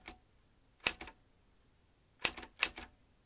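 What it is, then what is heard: Metal manual typewriter. Fingertips tap the keys of a vintage metal manual typewriter with exposed metal typebars and a ribbon spool. A few sharp, bright clacks ring out in short separated bursts, each followed by a softer secondary click, with quiet pauses between them.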